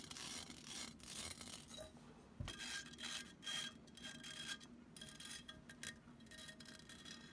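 Long nails scratch up and down the mesh of a hollow, empty black metal mesh pen cup held in both hands. Bright, raspy scratching comes in repeated strokes that swell and fade, with faint thin metallic ringing lingering between them.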